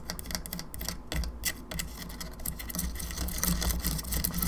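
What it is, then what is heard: Plastic skull lamp, hollow. Long nails tap and scratch the face and teeth of a hollow plastic skull candelabra lamp. Quick, irregular, dry clicks and bright scrapes sit over a steady low hum.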